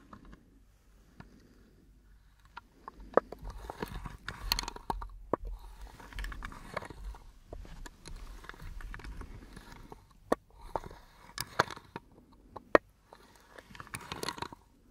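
An elongated brown wooden box with metal hinges, open and empty, is held in the hands and tapped, knocked and handled with fingertips and nails while its lid is moved. The result is a close, dry series of short, quiet knocks and scratchy taps with sharp clicks and faint rustling between them.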